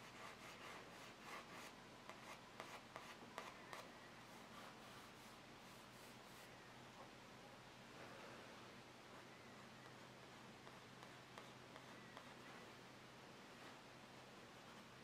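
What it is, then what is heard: Paper sketchbook page being shaded. A graphite stick scratches and rubs across the page of a spiral-bound paper sketchbook lying flat, in shading strokes while the side of the hand rests on the paper. Quick, crisp strokes come first and then settle into a soft, continuous papery rubbing at a quiet level, with a faint steady low hum underneath.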